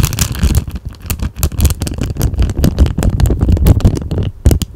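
An empty, thin, clear plastic cellophane bag is held in both hands close to the mic and crinkled with the fingertips and nails. It makes a dense run of sharp, crackling crinkles over a heavy, low, muffled rumble, with bright, brief crackles cutting through in quick irregular bursts.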